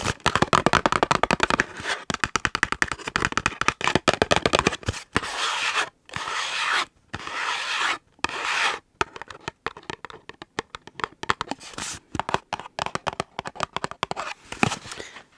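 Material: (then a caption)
Cardboard. A small gable-top printed cardboard chick gift box with a plastic window, hollow with chocolate inside, is turned in the hands while fingertips and nails rub, scratch and tap its card faces and window. Quick dry taps and scratchy clicks come in dense bursts, broken up by a few longer bright, hissy scrapes across the surface.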